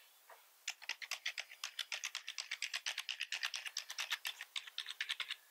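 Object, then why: Plastic computer keyboard. Two hands type with their fingertips on a full-size black plastic membrane keyboard with red accent keys. After a faint tap and a brief pause, a rapid run of about 38 bright, clicky key taps follows, each short and dry with almost no low end.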